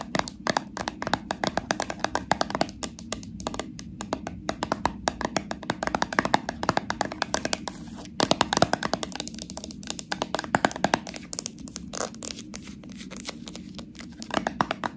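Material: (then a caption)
Plastic, metal. Long nails tap and scratch the rim of the metal screw lid and the plastic body of a small, full, purple plastic slime jar. Rapid, dry, clicky taps mix with scratchy rubbing, each tap dying away almost instantly. A brief pause comes near the middle before the tapping resumes.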